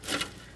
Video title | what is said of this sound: Weekly Meal Prep - Weight Watchers Freestyle - Breakfast, Lunch & Dinner Prep!! | I don't think I can really demonstrate how crispy they are maybe you can hear that